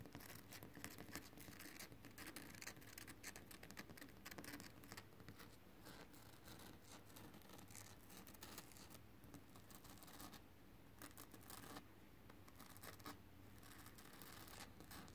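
Fingertips and short nails tap and scratch across a flat, solid, rough textured concrete ground. The result is a dense, steady stream of quiet scratchy taps and rasps with a low, rumbling undertone, keeping an even level throughout.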